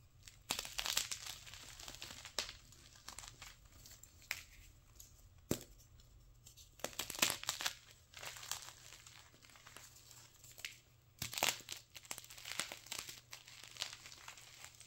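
Chunks of a solid, dry, brittle white gym chalk block (magnesium carbonate) are crushed into powder in a fist while a thin slab is snapped in the other hand. Bursts of bright, dry crunching and crumbling crackle in uneven clusters, with sharp snaps and quieter gritty rustling in between.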